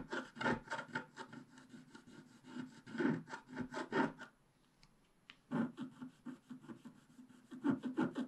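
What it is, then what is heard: Scratch-art card being scraped. A wooden stylus scrapes the black wax coating over a colored base on a flat scratch-art card, working near the unicorn's head and sky. Rapid, dry scratching strokes with a rough, raspy texture repeat in quick bursts, pause briefly into near silence around the middle, then resume.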